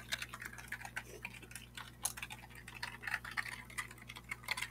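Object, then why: Plastic computer keyboard. A full-size black plastic computer keyboard with a hollow plastic body is held upright near a webcam and tapped and scratched with the fingertips of one hand. Quick, bright, dry plastic clicks and light scratches come in an uneven stream, each dying away almost instantly. A faint steady low hum runs underneath.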